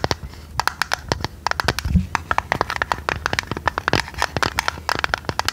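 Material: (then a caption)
Tinplate. Long red nails tap and scratch a hollow, medium-size printed purple tinplate tea canister with its lid on. A rapid, uneven series of sharp, dry metallic clicks rings in the midrange around 1 kHz with bright edges. Softer scratching fills the gaps, and each tap dies almost at once.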